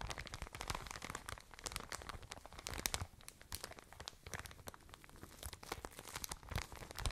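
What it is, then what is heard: Plastic bag of cotton wool. A full, soft, medium-sized plastic bag of cotton wool is crinkled and squeezed with fingers and nails close to the microphone. Dense, quiet crackling and crinkling runs throughout, with bright, sharp snaps over soft low rustling and thumps of the bag being pressed, each crackle dying away almost instantly.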